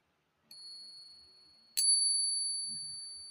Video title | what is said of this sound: Alamin sa tunog pa lang malalaman mo kung Silver o Hindi, TRADITIONAL SILVER TESTING o Ping Test | ang resonance niya ay ah mahaba. may echo, matinis, malinaw ang kaniang uh tunog